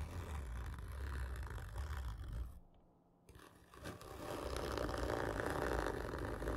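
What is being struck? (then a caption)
Cardboard gift tube. Long fingernails scratch a large, hollow, black printed cardboard whisky gift tube lying horizontally. The result is a dense, rough scraping with a heavy low rumble, broken by a near-silent pause just before the midpoint. The scratching then returns louder and steadier, with a stronger mid-range rasp around 440 Hz.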